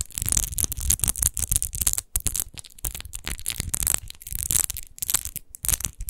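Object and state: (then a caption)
Textured glass bottle. Long acrylic nails scratch and tap quickly over a large, hollow, apparently empty textured glass wine bottle with a rose-shaped relief base, lying on a fur rug. The result is a dense run of bright, crackly scrapes and clicks over a low thumping undertone, with brief pauses between bursts.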